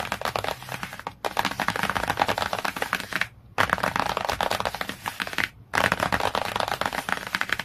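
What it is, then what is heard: Hardcover book cover. Fingertips and nails tap and scratch fast across the glossy cardboard cover of a large hardcover children's encyclopedia book lying flat. The result is a dense, crackly, bright patter of rapid taps and scrapes with very little low end. It comes in three long bursts separated by two brief pauses.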